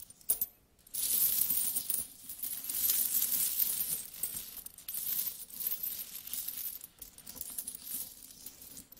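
A large pile of mixed small solid metal coins on a carpet: coins are dropped from the fingers, then flat hands sweep and shuffle through the pile. The result is a continuous bright, metallic clinking and jingling, with a sharp initial clatter followed by sustained rustling, rummaging chinks.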